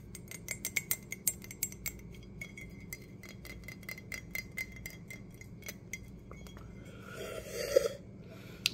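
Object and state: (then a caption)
Ceramic coffee mug tapped. An empty dark green glazed ceramic coffee mug with a handle is held in the hands while fingertips and nails tap rapidly on its outer wall. The taps make short, dry clicks and bright clinks with almost no ring, over a steady low hum. Near the end, a brief scratchy rubbing burst comes before a final sharp tap.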